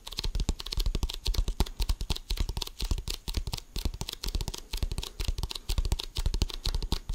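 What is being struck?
Inflated composite leather basketball.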